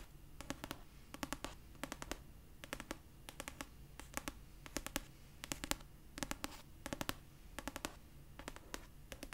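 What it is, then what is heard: Paperback book cover tapped with fingernails. Long purple nails rapidly tap and scratch the paper cover of a pastel paperback copy of "Red, White & Royal Blue", a solid paper book. The sound is quick clusters of short, dry, crisp clicks with a faint scratchy rustle, repeating in bursts about every half second to second. Each tap dies away almost instantly.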